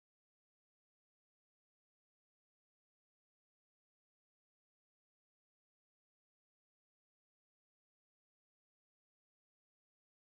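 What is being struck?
Nothing is struck.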